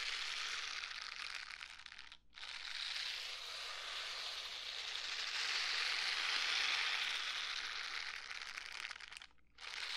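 A pair of pink silicone scrubber gloves worn on both hands is rubbed together palm to palm close to the microphone. The result is a dense, bright, ratchet-like squeaky crunching that runs almost continuously, broken by two brief pauses near 2 and 9.5 seconds.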